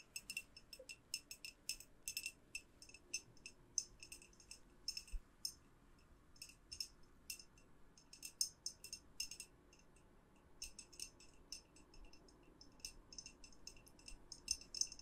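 Long nails tap and scratch the walls of a clear, hollow glass jar with a white lid and a lit tea light inside, held up in both hands. The result is a quiet, irregular run of short, bright glassy clicks and ticks over a faint low background, each ringing only briefly.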